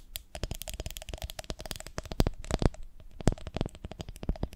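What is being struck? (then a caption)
Ribbed glass jar of honey. Long nails tap and scratch across the ridges of a medium, ribbed, beehive-shaped glass jar with a lid, full of honey. The result is a rapid, uneven series of short, dry clicks and scrapes, each with a faint glassy ping. The clicks have crisp, bright edges and a soft low thump underneath.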